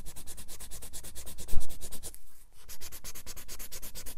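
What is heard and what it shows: A white or light pencil rubs over a red apple drawing on grey paper in a spiral-bound sketchbook lying flat on a wooden desk. It makes a steady run of quick, short scratching strokes with bright, hissy rasps. A duller bump comes around the middle, then a brief pause before the strokes resume.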